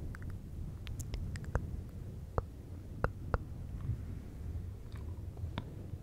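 Fingertips of both hands rub and scratch a fluffy synthetic fur windscreen on a silver microphone. The result is a steady, muffled low rumble of brushing fur, broken by sharp, bright crackles and clicks.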